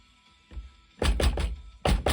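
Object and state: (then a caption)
Unseated gas check, hollow-sounding. A copper gas check is tapped onto the base of a cast lead bullet with a top punch, making a faint tap followed by five sharp, short, low thunks in two quick bursts. The taps have the hollow sound of a gas check that is not completely seated.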